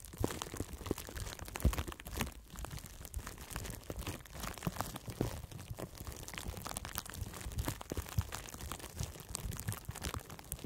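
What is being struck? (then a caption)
Plastic bubble wrap. A sheet of clear, light, flexible plastic bubble wrap with hollow air bubbles is wrapped around a microphone head and squeezed and crinkled by both hands with the fingertips. The result is a continuous, close stream of crinkling and crunching with dense bright crackles over heavy, muffled low thumps.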